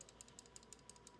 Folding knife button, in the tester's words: there's definitely a rattle, and that's from this button being a little loose